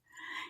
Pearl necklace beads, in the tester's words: you can also hear this. It sounds like glass.